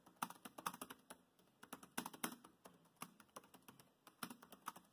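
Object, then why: Plastic laptop keyboard. Fingertips type quickly on a dark grey plastic laptop keyboard, producing about thirty short, dry plastic key taps. The taps come in quick bursts separated by brief pauses. Each click is crisp and clacky with a bright top and dies away almost instantly.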